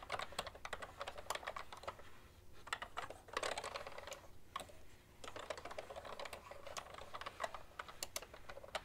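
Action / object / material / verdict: tap / plastic computer keyboard / plastic / none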